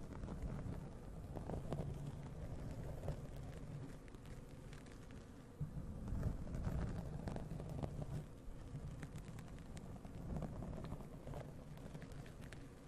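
Both hands scratch and rub a black foam windscreen on a large condenser USB microphone with long white-tipped nails, the soft porous foam covering a hollow mic head. The result is a dense, irregular, muffled scratching and rubbing heard as a deep, boomy rumble with almost no high end. It swells louder around the middle and again near the end.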